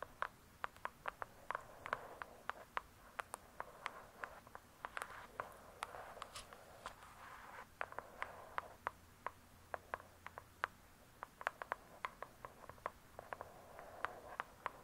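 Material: Cardboard.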